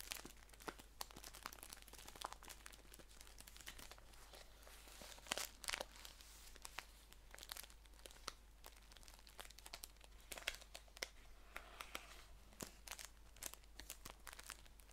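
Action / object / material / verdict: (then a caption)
scrape / paper tea pouch / paper / none. Fingertips crinkle and scratch the crisp paper of a green, labeled paper tea pouch as it is handled and stood upright. A quiet stream of sharp, bright crackles and rustles comes in irregular bursts, with a louder crunch around five and a half seconds and again near ten and a half seconds. A faint, steady low hum runs underneath throughout.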